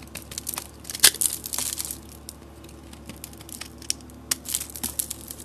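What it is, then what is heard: Bar soap being carved. A utility knife blade scrapes and carves flakes off a solid, hand-sized bar of soap whose surface is painted green and orange and covered in glitter. The sound is a quick run of bright, crisp crunching and scraping scratches, with the sharpest burst near the one-second mark. A faint, steady low hum sits underneath.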